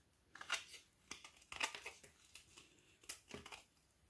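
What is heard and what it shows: A metal knife blade scrapes along the edge of a frozen, solid, large flat ORION milk chocolate bar with banana and cacao filling, held in hand over a wooden table, shaving off curls of chocolate that pile up on the table. Bright, crisp scraping and crackling bursts come at an uneven pace, with short rasps between quiet pauses.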